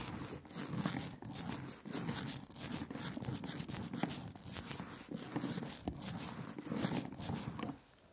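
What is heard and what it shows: A rubber brayer is rolled by hand back and forth through a thin, even layer of sticky black printing ink on a glass slab. It makes a steady, velvety, tacky hiss with bright crackling texture and a low rumble beneath. The rolling stops near the end, leaving near silence.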